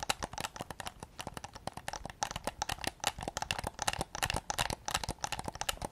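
A hollow white hard-plastic PS5 DualSense controller is tapped with fingertips close to the mic, then raised to show its back. Quick, irregular dry clicks and taps sound throughout, with a hollow plastic tone around 800 Hz and bright upper edges. Each tap dies away almost instantly.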